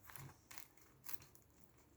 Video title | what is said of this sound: ✨ Krachel Brioche Marocaine🌙 Ramadan 2021 ✨ | j'ai réchauffé, vous entendez? Ça croustille.